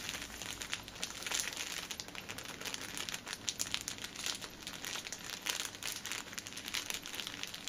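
Long nails scratch and tap the top edge of an upright six-pack of pocket tissues wrapped in clear plastic film. The result is a steady stream of bright, crisp crinkling broken by quick, sharp ticks and scratchy rustles, with almost no low end.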